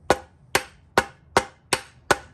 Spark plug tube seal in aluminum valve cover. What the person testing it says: When it sounds like it's solid all the way around, you'll know it's fully driven home.